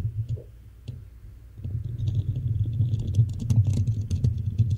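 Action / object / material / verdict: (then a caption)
scrape / metal mesh microphone grille / metal mesh / none. Long manicured nails of both hands scratch the hollow black metal mesh grille of a Blue Yeti style USB microphone. The result is a dense, rumbling scratch with a heavy low boom around 100 Hz, scattered with bright clicky ticks. It starts soft and grows louder and busier after about a second and a half.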